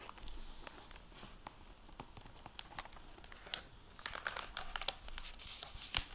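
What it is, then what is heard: Plastic-covered dust jacket on a hardback book. Fingertips and nails handle and bend the plastic-covered paper dust jacket flap of a hardback book lying open, producing soft, bright crinkles and small sharp crackles. The crinkling is quiet at first and grows denser and louder in the second half, with a sharp snap near the end.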